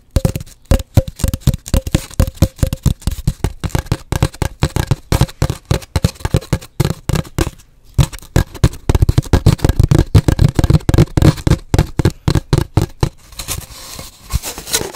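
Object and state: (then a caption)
Hollow cardboard tube. Long nails tap and scratch along an empty, hollow cardboard paper towel tube held horizontally, producing a rapid, uneven run of short, dry, hollow knocks that are mostly low thumps with a faint resonant ring. The tapping briefly pauses just before the middle, then resumes denser and louder before thinning into lighter scratches at the end.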